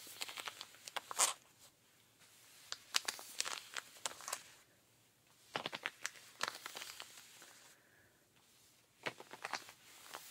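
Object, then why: Denim jeans fabric. A pink rubber-gloved hand scratches the thigh and knee of denim jeans on a raised leg. Bursts of quick, dry, bright scratching and rasping come in clusters, separated by near-silent pauses.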